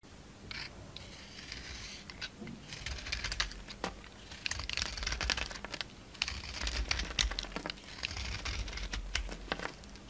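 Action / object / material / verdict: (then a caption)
scrape / soap bar / soap / none. A solid rectangular Marseille soap bar with a red coating, held in the palm, is shaved and scraped with a utility-knife blade so white flakes peel off. Dense, bright crinkling scrapes and small crisp clicks come in uneven bursts over a faint low hum.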